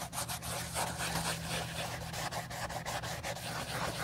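A wool dauber on a clip rubs dye over the toe and vamp of an old brown leather Josef Seibel slip-on sandal, hollow and empty and held in black-gloved hands during refurbishing. Steady, bright scratchy swishes repeat in quick strokes over a constant low hum.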